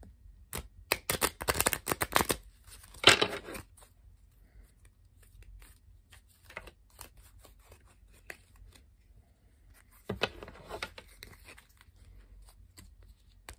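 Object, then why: Paper playing card deck. A standard blue-backed paper playing card deck is split from a solid stack into two halves, then riffled and bridged by fingertips with long painted nails. A rapid, crisp flutter of cards opens the clip, followed by a brighter burst and then quieter scattered taps and card clicks. A second riffling flutter comes near the end, with a bright, papery tone throughout.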